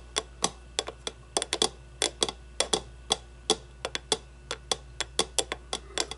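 Long blue-painted nails tap an empty, hollow clear acrylic display cube resting on a wooden table. About 26 quick, irregular taps ring out, each a sharp, bright plastic click that dies away almost at once over a faint steady hum.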